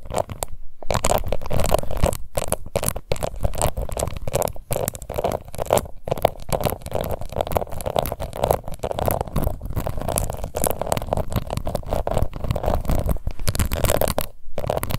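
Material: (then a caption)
Plastic. A small round pink plastic face powder compact with an embossed lid is scratched around its rim and lid with long nails. Dense, continuous scratching and crackling fills the clip, with brief pauses and a low, rumbling weight beneath a midrange rasp.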